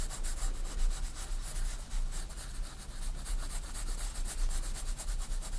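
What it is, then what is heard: Pencil shading on sketchbook paper. A 4B pencil rubs dense shading strokes across a page of a white paper sketchbook lying flat. It makes a steady, scratchy graphite rasp with bright hissing pulses on each stroke over a constant low rumble.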